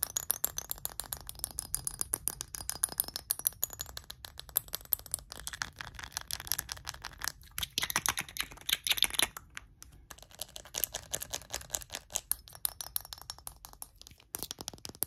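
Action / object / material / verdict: tap / small glass perfume bottle / glass / none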